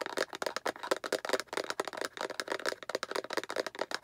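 Long acrylic nails tap and scratch rapidly on both sides of a hollow, translucent yellow-green plastic egg capsule held vertically. The result is a fast, uneven stream of dry, hollow plastic clicks with a midrange tone around 520 Hz, mixed with bright scratchy rasps. Each tap dies away almost instantly, with no low-end body.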